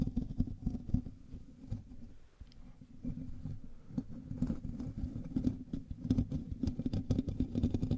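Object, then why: Metal mesh microphone grille. Fingertips and nails of both hands scratch the hollow metal mesh grille of a black USB microphone, producing a dense, continuous rasping and tapping. The close-up scratches come through as muffled, boomy low-end rumbles and quick thumps, with almost no high or bright content. The sound swells and eases in uneven bursts for the whole stretch.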